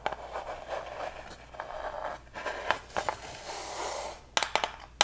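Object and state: Plywood heart cutout.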